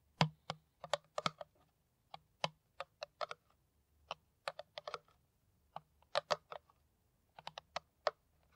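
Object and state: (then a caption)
Empty plastic PET bottle tapped with nails. Long nails tap an empty, hollow, clear plastic PET water bottle with its cap on, held in the hand. 26 short, dry, clicky taps come in irregular bursts, each with a bright tick over a faint low hollow thump and almost no ring.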